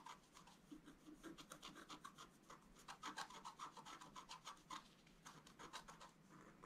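A wooden stylus scratches across a flat scratch art paper card in quick, uneven rasping strokes. Each stroke gives a dry, bright scrape with a raspy tone around 1 kHz and almost no ring. The strokes follow one another closely at a soft level.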